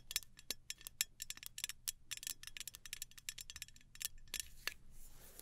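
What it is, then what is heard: Aluminium travel spray bottle tapped with nails. Long nails tap rhythmically on the metal body of a small gold aluminum travel spray bottle. The result is a quick run of sharp, bright, tinny clicks with almost no ring and little low end, fading into a soft hiss at the end.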